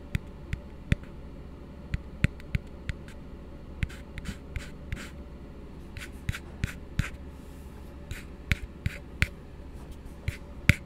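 A small, hollow, empty blue frosted plastic tumbler, held upside down close to the mic, is tapped by fingertips and nails in an irregular rhythm. About twenty short, dry, bright clicks and taps stand apart, each dying away almost instantly over a steady low hum.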